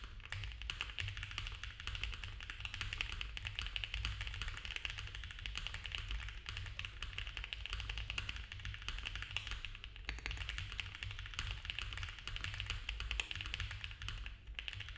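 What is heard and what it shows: Both hands type fast with the fingertips on a compact, foam-filled mechanical keyboard with cream ABS plastic keycaps on a dark case and a polycarbonate plate. A dense, steady stream of quick, short, bright clacking taps runs throughout over a constant low rumble, easing briefly around the ten-second mark.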